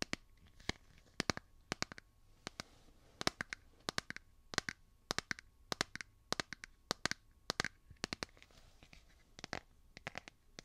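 A hand-sized smartphone in a solid light blue plastic or silicone case is held in one hand while fingernails tap and scratch the back of the case. The result is a quick, irregular series of sharp, bright clicks with almost no ring, over a soft scratchy hiss.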